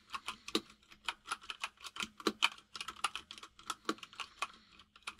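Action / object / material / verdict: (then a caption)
tap / plastic mechanical keyboard / plastic / none. Both hands type steadily with their fingertips on a compact mechanical keyboard with white and grey plastic keycaps. About 25 quick, bright plastic clicks and clacks follow one another in an uneven rhythm, each dying away almost at once.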